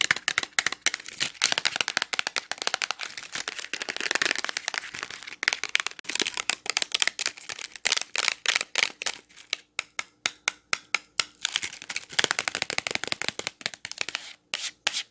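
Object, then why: Clear plastic clamshell package of wax cubes. Long nails tap and scratch a clear plastic wax melt clamshell full of wax cubes, held and handled in the hands. It produces rapid, dry, bright clicks and crinkly scratching with almost no low end, thinning out midway into sparser, distinct taps before quickening again.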